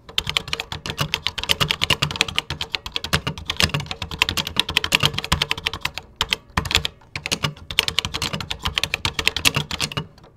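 Fingertips type steadily on a vintage 1980s computer keyboard with cream plastic keycaps, producing rapid, bright, crisp plastic clicks with a light low thump beneath. The clicks stop almost instantly, and the typing pauses briefly around the middle before continuing to the end.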